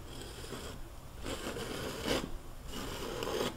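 A metal palette knife is drawn across a large flat canvas panel coated in wet oil paint, scraping paint onto a mountain shape. Soft, gritty scraping strokes swell and fade in a few broad bursts, with a brighter rasping edge on the louder passes.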